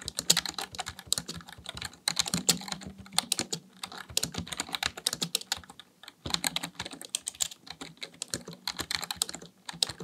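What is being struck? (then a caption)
Plastic computer keyboard. Fingertips type rapidly on the keys of a black plastic full-size keyboard resting on a desk. The result is a dense run of bright, sharp clicks and clacks that cut off almost instantly, with brief lulls near the 2- and 6-second marks before the typing resumes.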